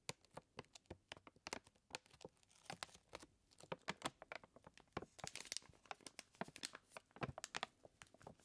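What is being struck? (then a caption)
Full paper flour bag. Fingertips and nails scratch and tap a full white paper flour bag while it is pressed and crinkled. A quiet, rapid run of dry, crisp ticks and papery crinkles is heard, bright and sharp, with each sound dying away almost instantly and a denser, rustling stretch near the middle.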